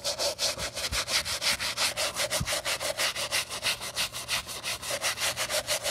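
A wooden-handled bristle brush with soap foam scrubs the sole edge of a Saint Laurent white leather sneaker with a crepe rubber sole, held in black-gloved hands. Quick, steady back-and-forth strokes make a bright, hissing scratch, about three per second with short gaps between them.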